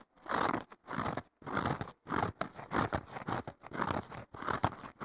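Fingertips and short nails scratch and poke the top foam surface of a thick, solid, porous blue foam sponge block with a green abrasive layer on the bottom. Dense, crunchy scratching comes in repeated bursts separated by brief silences, with a rough, mid-heavy texture and little ring.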